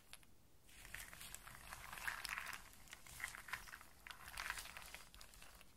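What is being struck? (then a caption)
Pile of in-shell walnuts and hazelnuts. Fingertips and long nails scratch and shuffle through a loose pile of dry in-shell walnuts and small hazelnuts, rubbing the hard shells against each other. After a brief quiet start, a steady stream of soft, bright clicking, crackling and rattling builds up, with louder clustered clatters of shell against shell. The whole clip stays fairly quiet and close, with little low end.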